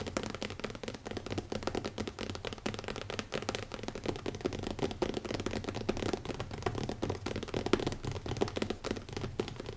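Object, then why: Leather-covered hardcover notebook. Fingertips of both hands tap quickly on the cover of a closed black leather-covered hardcover notebook with an elastic band, resting on a wooden table. A dense, steady stream of soft, dull taps with short decay, centered in the low mids.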